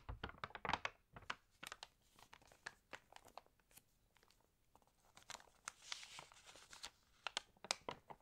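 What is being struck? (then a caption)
Glossy paper magazine pages. Fingertips and long nails rub, scratch and turn the pages of an open, water-damaged glossy paper magazine. Quick, sharp crinkles and crisp scratches follow one another with soft brushing rustles in between, bright and papery with almost no low end. Each sound stops almost instantly, leaving quiet gaps between the bursts.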